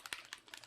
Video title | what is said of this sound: How to Paint Gingle Bells | you have to shake it until you hear that little ball hear that and that means that everything is mixed